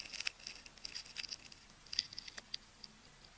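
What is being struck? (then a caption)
Wound adhesive tape ball. A metal craft knife tip scratches and scores the surface of a hand-sized solid ball of wound pink, white and orange adhesive tape held in one hand. It makes a quiet, irregular run of short, crisp, bright scratches and ticks with almost no low end, each one dying away instantly.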